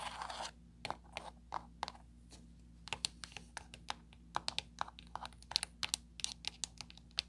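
Long blue pointed nails tap rapidly on the many small rubbery buttons of a flat black plastic LED light remote control lying on a table. After a brief burst of soft, hissy rustling, a quick run of sharp, bright clicks and taps follows, each stopping dead with no ring. A faint low hum sits underneath throughout.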